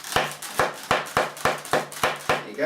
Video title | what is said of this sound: Cowboy Gun Balloon Tutorial - Video 59 - BalloonTube with Graham Lee | the two pinch twists at the side and this top one have got to be quite tight because it makes a louder noise